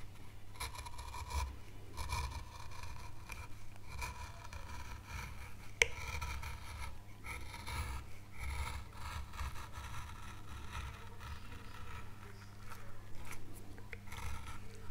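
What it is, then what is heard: Wood carving board being scraped. A fine veiner tool scrapes thin curls from the leaf veins of an oak leaf carved into a small, solid, pale wood carving board. Soft, continuous rasping and scraping strokes run over a steady low hum, with one sharp click near the middle.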